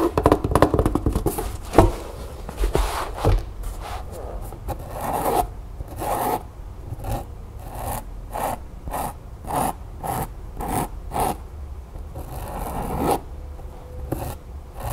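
Long nails scratch and tap along the chevron-print fabric side of an empty, hollow storage bin made of fabric over stiff cardboard. Fast, dense scratching with sharp taps gives way to a steady series of short, separate rasping strokes over a low, muffled thud.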